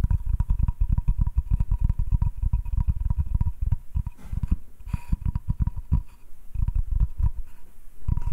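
Fingertips and nails tap and scratch the surface of a flat, solid butcher-block hardwood cutting board held in the hand. Rapid, dull, low-pitched knocks follow one another with almost no ring, broken by brief softer scratching passages, while a faint steady tone hums underneath.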